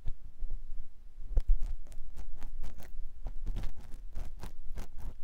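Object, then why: Silicone ear of a binaural microphone scraped by a silicone ear pick. A clear silicone ear pick with a yellow handle scratches inside the canal of a white silicone ear on a binaural microphone block. The result is a rapid series of short, close, muffled scraping strokes with a dull, low thumping rumble around 90 Hz and faint bright edges.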